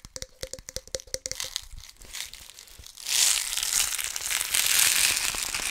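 A small red and black plastic BB container holding loose steel BB pellets is held in both hands close to the mic and shaken and turned so the pellets rattle inside. It opens with a quick run of sharp, separate clicks that carry a short hollow ring, then a quieter scattered rattle. About halfway through, it swells into a loud, dense, bright rush of pellets pouring and rolling against the plastic.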